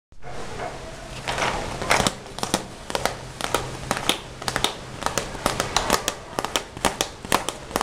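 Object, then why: Zippered vinyl pencil case. Fingertips and short nails tap and scratch the shiny front of a closed, hollow, red glossy vinyl/PVC Hello Kitty zippered pencil case with pencils inside, held in the hands. Sharp, bright, clicky taps with very short decay come in an uneven series, with soft scratchy rustling between them over a faint steady low hum.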